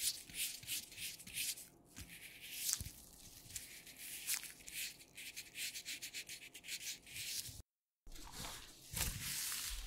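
Thin black nitrile gloves worn on both hands, with the gloved fingers rubbed and squeezed against each other. The result is a continuous, bright, dry rubbing and squeaking texture made of quick repeated strokes. A brief moment of silence falls near the end before the rubbing resumes.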